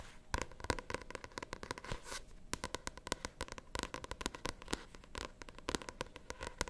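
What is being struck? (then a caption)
Paperback book with glossy card cover. Long nails tap and scratch the glossy cover and spine of a paperback novel, making a quick, irregular run of sharp, dry clicks. A soft, bright scratching texture runs between the taps, and each tap stops almost at once.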